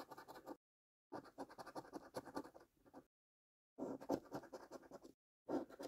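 A coin held in the fingers scratches the latex coating on a thin, flat, printed cardboard £2 National Lottery "5x £100 Multiplier" scratch card with back-and-forth strokes. Four bursts of quick, dry, raspy scraping, centered in the low-mid range, are separated by short silences.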